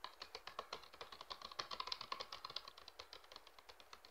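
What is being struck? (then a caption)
Thin plastic water bottle. Hands squeeze and crinkle a clear, hollow, mostly empty PET water bottle with a red cap while fingertips tap its thin plastic. The result is a quick, steady run of about 36 short, dry crinkling clicks, bright and high with little low end, each dying away almost instantly at a soft level.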